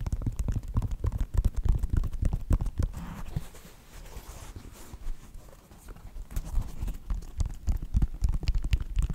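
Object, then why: Synthetic leather sneaker upper. Fingertips and nails tap rapidly on the synthetic upper of a white Nike sneaker, producing dull, low, thumping taps in an uneven patter. The tapping eases to a softer, quieter stretch midway, then picks back up to its earlier pace and strength.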